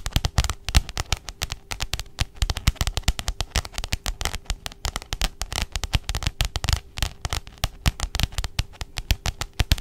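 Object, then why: Spiral notebook with plastic cover. A pink spiral notebook with a glossy plastic cover is held upright and tapped quickly by the long nails of both hands. Sharp, dry clicks with a dull low thump fall in a fast, uneven flurry and die away almost instantly, over a faint steady hum.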